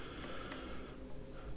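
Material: Nothing is struck.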